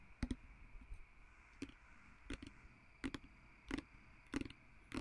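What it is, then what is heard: Glass perfume bottle tapped with fingernails. Fingertips and nails tap and scratch the glass surface and label of a small, partly full, blue-filled glass perfume bottle with a glass stopper, held in both hands. About ten quiet, short clicks come at an uneven pace over a faint steady hiss, each with a low body and a brief bright tick.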